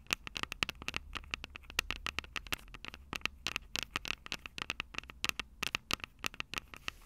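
Long purple acrylic nails rapidly tap and scratch the two metal microphone capsules of a small black plastic Tascam DR-05 handheld recorder held upright. Dozens of sharp, dry, bright clicks with a metallic edge arrive in quick uneven bursts, each stopping instantly with no ring. A faint low rumble sits underneath during the first seconds.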